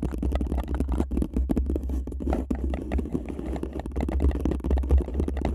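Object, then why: Paper cup over a microphone. A hollow, empty paper cup covering a microphone is scratched and tapped with long nails and fingertips by two hands. The result is a steady, dense stream of close scratching and quick tapping over a deep, boomy low rumble, with each short hit dying away almost at once.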